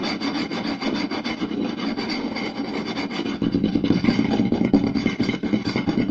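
Two hands scratch and tap fast on the surface of a round, solid wooden plate with a rim groove, using fingertips and short nails. A dense, dry scraping rasp runs throughout with quick, irregular taps woven in. About halfway through, the sound grows fuller and louder with a stronger low woody body.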